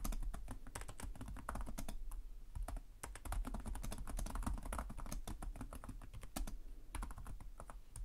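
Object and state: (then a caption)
Plastic laptop keyboard. Fingertips type continuously on the plastic keys of a black laptop keyboard, producing a rapid stream of bright, short clicks and taps. A steady low rumble sits underneath the clicks throughout.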